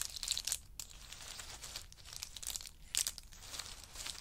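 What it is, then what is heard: Pile of in-shell pistachio nuts. Two small wooden spoons stir and scoop through a heap of pistachios in hard shells resting on a fur mat. The shells clatter and crackle in a steady, bright rattle, with louder bursts near the start and around the three-second mark. Each click dies away almost at once, leaving a continuous dry, crunchy texture with very little low end.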